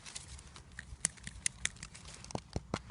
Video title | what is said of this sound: Searching for Spring and Grace Dieu Priory - Charnwood Forest | when you tap them they sound quite Hollow